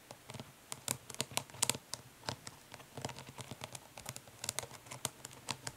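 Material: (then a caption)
Plastic. Long nails of both hands tap quickly and scratch lightly across the printed lid of a closed, flat, hollow plastic eyeshadow palette lying lid up. The result is a quiet, rapid patter of bright, dry clicks with no ring, mixed with faint scratchy rustles between the taps.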